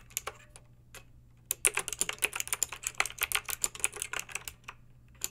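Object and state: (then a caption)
Plastic mechanical keyboard being typed on. Long pink acrylic nails type on a backlit plastic mechanical keyboard with round plastic keycaps, making bright, sharp clicks and clacks. A few scattered taps and a brief pause lead into a quick run of about 25 short clicks in total, over a faint steady low hum.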